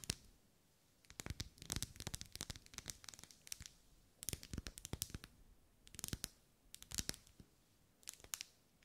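Long nails scratch and tap along the vertical ribs of a lit, hand-held pink pillar candle of solid wax. Bursts of sharp, dry clicks and crisp scratching come in quick clusters with bright edges, separated by short quiet pauses.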